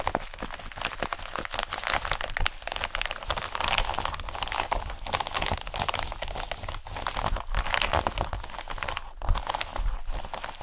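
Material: Plastic.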